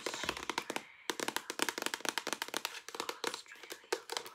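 Long nails rapidly tap a hollow white plastic shampoo or lotion pump bottle with a handle and gold collar, held close, striking both its body and its pump. The result is a quick run of short, bright, dry clicks with a brief pause near the one-second mark.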